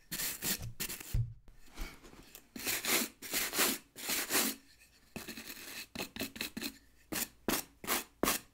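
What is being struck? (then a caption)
Rubber boot sole scrubbed with a bristle brush. A wooden-backed bristle brush scrubs the solid rubber tread of a tan work boot's sole in long strokes. Each stroke makes a bright, broadband scratchy rasp that starts and stops at an uneven pace, with brief quiet gaps between strokes.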